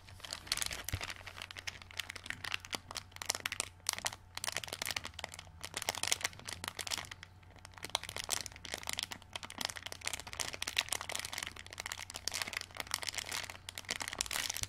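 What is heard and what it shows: A small, flat, clear plastic packet full of green plastic glow-in-the-dark stars lies on a table and is rubbed, pressed and scratched with fingertips and long dark nails. It gives off dense, bright crinkling and crackling with sharp little clicks, rising and falling in bursts over a faint low steady hum.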